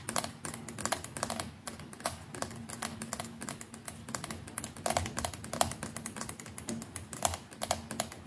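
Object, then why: Plastic electric toothbrush. Long nails on several fingers rapidly tap the plastic neck and brush head of a white plastic electric toothbrush. The result is a dense, irregular stream of short, dry, clicky taps with bright edges and a tonal knock around 700 Hz. A faint steady low hum sits underneath.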